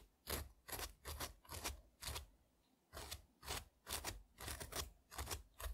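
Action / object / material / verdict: scrape / strawberry scraped with a metal tool / frozen fruit / none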